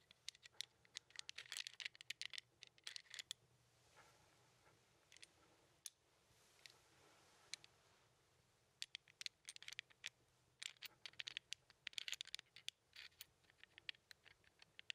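An index fingertip taps and clicks the numbered red and white tiles of a small plastic 15 sliding puzzle held up in the air. Rapid, bright, dry clicks come in quick clusters, with a quieter stretch of soft scratching and scattered taps in the middle. Each click is sharp and dies at once, with no ring and almost nothing in the low end.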